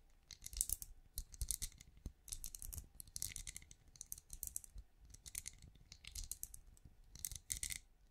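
Long nails tap and scratch quickly along the ridges of a small, hollow, glowing night lamp with a ridged translucent plastic-like shell. The result is a stream of fast, light clicks and bright, crisp scratching in short bursts, over a faint low thump.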